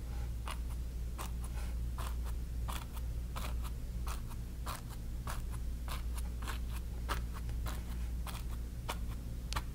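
A flat bristle brush held in the fingers dabs and rubs wet orange paint onto a small stretched cotton canvas on a wooden frame. Short, bright, scratchy brush strokes repeat in quick succession over a steady low hum.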